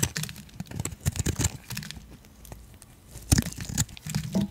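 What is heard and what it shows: A hand-sized solid turquoise bar of soap, held in one hand, is carved and scraped with a metal utility blade, with flakes falling away. Dry, crisp crunching and crinkly scraping come in uneven bursts, with bright crackle over a low thudding body and short quiet gaps between strokes.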